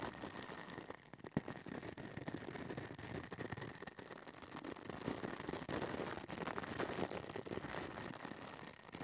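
A pink plastic brush with stiff white bristles is brushed and scratched back and forth across the hollow metal mesh grille of a small pink mini microphone. The result is a steady, dense, close-up scratchy rustle with broad hiss reaching into the highs and a faint steady tone around 2 kHz. A brief louder knock comes near the start.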